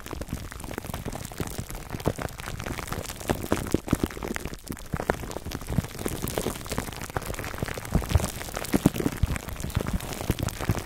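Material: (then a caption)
Plastic film. Fingertips of both hands scratch clear cling film wrapped over a black foam microphone windscreen. The result is a steady, dense crackle of tiny clicks and crinkles, like rain on a surface, with a heavy low, muffled body. It continues evenly for the full clip with small louder bursts throughout.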